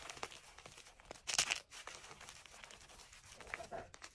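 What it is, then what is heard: Gym chalk chunks crumbling. White and green-dyed gym chalk blocks and powder in a cream enamel bowl are crushed and crumbled between bare fingertips and palms. The soft, brittle pieces give a steady stream of dry, bright, crackling crunches with a powdery rustle, peaking in a louder burst of crumbling early on before settling back into quieter crackles.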